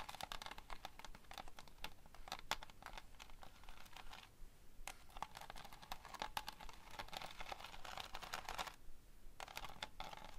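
Long fingernails on both hands rapidly scratch and tap across a framed, flat, solid foam board covered in pinned plastic sequins that form a tiger picture. The result is a dense stream of quick, bright clicks and scratchy rustles, with brief quiet pauses near the middle and toward the end.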